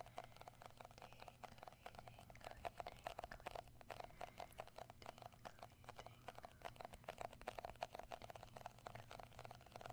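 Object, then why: Round plastic cosmetic jar. Fingertips quickly tap and grip all around a round, hand-sized plastic shea butter tub with a label, seemingly full. A rapid, dense stream of quiet, short, dry clicks and taps carries a hollow plastic tone around 700 Hz over a faint low hum.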